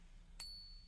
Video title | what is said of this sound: The BEST ways to TEST for FAKE SILVER at home! #silverstacking | you will find there's a very noticeable difference in that ping right there